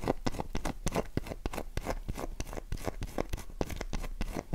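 Long nails scratch a dry, solid, oval light-blue Dove soap bar held in the palm, its box lying untouched nearby. A rapid, irregular run of short, dry clicks and scrapes is heard, each fading almost instantly and sitting mostly low.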